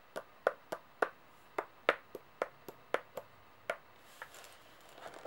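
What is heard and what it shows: Long painted nails tap and click on the faces of a set of solid metal coins lying flat on a table, giving thirteen short, bright, irregular clicks with very little ring. The clip ends with a few softer, scattered rustling clicks.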